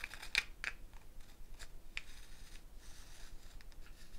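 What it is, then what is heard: Gourd shaker with wooden bead net. Fingernails pick at the wooden bead net on a hollow dried gourd shaker with a handle, making short, bright clicks, with a sharper one near the start. The gourd is then raised and shaken, giving a quiet, steady rattle and rustle of beads over a low background hum.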